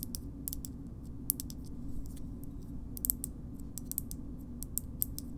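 A small, hard green plastic shoehorn is tapped and scratched with long nails. Quiet, sharp, bright clicks and faint scratches come in an uneven, slow series over a steady low rumble. Each click stops almost at once with no ring.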